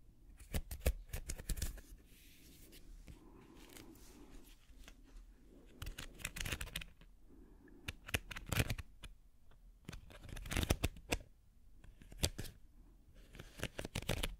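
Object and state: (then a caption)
Wicker basket being scratched. Fingernails scratch along the weave of a small, hollow, empty woven wicker basket held upside down. Slow bursts of crackly, brittle scratching and sharp bright clicks come and go with quiet pauses between them, over a dull, low hollow body.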